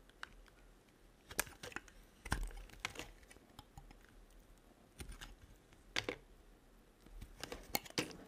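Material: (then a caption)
Soap. A metal blade carves a solid yellow-white striped bar of soap, slicing off thin curls. Quiet, dry, crisp scraping strokes arrive in short bursts, each with bright crackly clicks that stop almost at once, between soft pauses.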